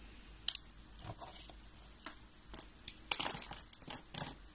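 Fingertips with red nails peel and crumble thin flakes off three hollow, rolled yellow-and-white dry soap roses. Bright, dry crinkling crackles and sharp little snaps come in scattered bursts, with a denser cluster of crunches near the end.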